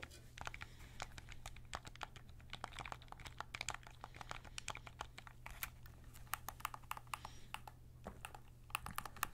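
Fingertips press and click the buttons and thumbsticks of a white and black plastic PS5 controller, a hollow handheld held close in both hands, and tap its shell. The result is a rapid, irregular stream of short, dry, bright plastic clicks and taps that stop instantly with no ring, over a steady low hum.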